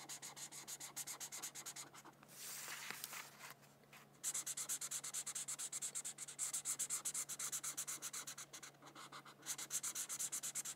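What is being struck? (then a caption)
Felt-tip marker on a thin paper sheet over a book. A felt-tip marker scratches and rubs back and forth across a thin white paper sheet resting on a book while coloring petals red. Quick, rhythmic strokes make a bright, high, papery hiss, broken around the two-to-four-second mark by a steadier, smoother rubbing before the fast strokes resume.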